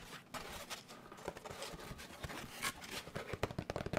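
A large molded paper pulp packaging tray, held at an angle in both hands, is tapped with the fingertips. Soft, dry, papery taps come in an uneven run over a faint scratchy, crinkly rustle, each tap dying away almost at once. The tapping grows quicker and slightly sharper toward the end.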